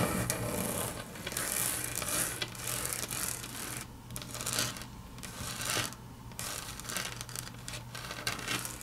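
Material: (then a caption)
Laminate. Long natural fingernails scratch and tap across a large, flat, solid grey wood-grain laminate tabletop. The result is a steady, bright scraping and rubbing texture with soft clicks, over a constant low hum.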